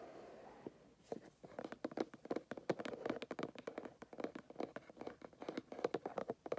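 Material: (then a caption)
Cardboard. A small white cardboard gift box with a paint-splatter print, closed and hollow, sits on carpet and is tapped with fingernails and fingertips. After a brief quiet hiss, a rapid, uneven run of short, dry, hollow taps follows with almost no ring, centered in the low midrange.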